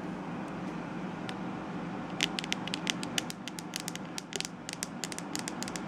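Long acrylic nails tap and scratch the hollow, glossy, glittery purple plastic back shell of a palm-sized Tangle Teezer-style detangling hairbrush. After about two seconds of steady low, soft hiss, quick, irregular, bright clicky taps start and keep going, mixed with faint scratching, each tap sharp and dry with almost no ring.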